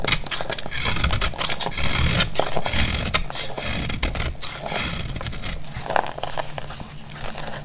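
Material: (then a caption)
Soap. A metal utility blade scrapes and cuts into a solid, palm-sized bar of dry orange soap held in a hand with blue-painted nails, and crumbly flakes fall away. A steady, dry, crackly scraping runs throughout, with bright gritty rasps over a low rumble and occasional sharper crisp snaps as the blade bites in.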